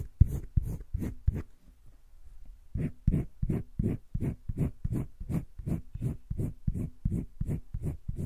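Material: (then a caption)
Paper. A green wooden colored pencil shades on a flat page of a spiral-bound paper sketchbook, making quick, repeated scratchy rubbing strokes. A few strokes are followed by a short pause, then a steady run of back-and-forth strokes at roughly three per second. Each stroke gives a soft, low, papery rasp with a brief bright edge.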